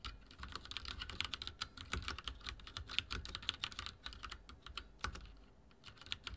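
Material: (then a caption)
Plastic. Fingertips type rapidly on a backlit mechanical keyboard with dark plastic keycaps and a silver frame. The result is a dense, steady stream of short, bright clicks and clacks that die away almost instantly, over a faint low background rumble.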